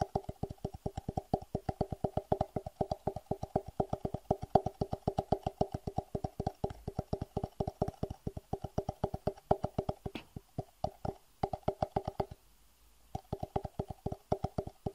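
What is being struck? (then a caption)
Small clear rigid plastic box. A small, hollow, clear rigid plastic (acrylic-like) box, apparently empty and held upright behind a webcam, is tapped rapidly with fingertips and short nails. The taps are quick, hollow clicks with a mid-pitched knock around 750 Hz and almost no ring. They run in a steady stream with a brief pause near the end.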